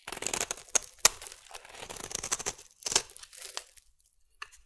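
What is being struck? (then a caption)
Bar of soap scraped with a metal blade. A solid purple bar of soap is scraped and shaved with a metal blade, producing a bright, crisp crackle of short scratchy bursts. Sharper clicks stand out near 0.8, 1.1 and 3 seconds, and the sound trails off into a quiet pause with one last faint scrape at the end.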